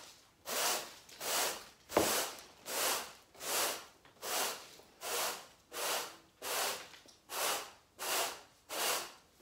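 A stiff-bristled garden broom sweeps a woven brown natural-fibre carpet along the skirting board, pushing debris across the floor. Each stroke is a soft, bright, rising-and-falling scratchy swish, repeated in a steady rhythm of roughly 80 per minute. A brief sharp tick sounds early in the sequence.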